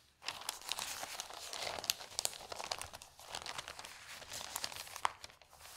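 An open newsprint newspaper with an advertisement page is handled by fingertips with long nails that turn and smooth the thin sheets. Soft, bright crinkling and rustling runs almost continuously after a brief quiet start, broken by many small sharp crackles and one louder snap near the end.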